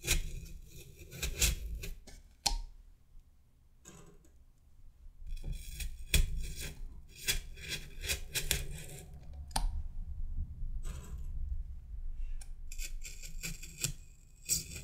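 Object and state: Styrofoam mannequin head being pierced.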